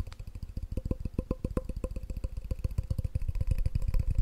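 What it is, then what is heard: Glass measuring cup. A clear glass measuring cup with red markings, hollow and empty, is held over the mic and tapped fast with the fingertips and nails. About 30 quick, dull, bass-heavy knocks come in a steady rapid run, each dying almost at once, with a faint glassy ring under them.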